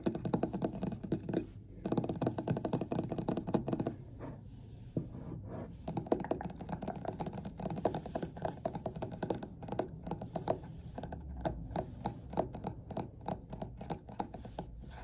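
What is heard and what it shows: A large three-wick candle in a glass jar with a printed butterfly label and wax inside is held in both hands and tapped with fingertips and nails around its glass sides. Dense, rapid, dull taps and clicks come in bursts with brief pauses, sounding low and muffled with little high ring.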